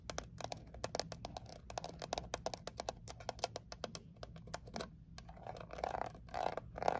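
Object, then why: Small thin metal mint tin. Long acrylic nails rapidly tap and scratch the lid and edges of a small, closed Altoids peppermint tin made of thin painted metal. The result is a dense run of sharp, bright clicks with short metallic pings, mixed with scratchy scraping over a soft low hum. Toward the end, the taps grow louder and carry a brief tinny ring around 700 Hz.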